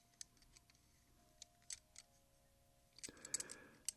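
Fingertips rearrange a fanned stack of large solid silver Morgan silver dollar coins held in both hands, clicking the coins together. Quiet, sparse, bright metallic clicks with very short ring come at irregular intervals. Near the end they give way to a denser burst of jingling and scraping that trails off with one last sharp click.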